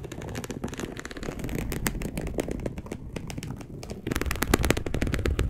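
A dark brown perforated polyester mesh fabric sheet, laid flat, is scratched with long acrylic nails. The result is a dense, uneven run of short, dry crackling scratches with a low thumpy body and brief bright ticks. The scratching grows louder and sharper in the last second and a half.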